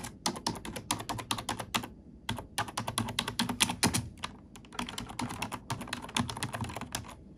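Plastic keys on a black plastic computer keyboard are pressed and tapped close-up with fingertips and nails. The result is a fast, irregular stream of sharp, bright clicks over soft low thuds, each dying away almost instantly. Brief pauses break up the typing.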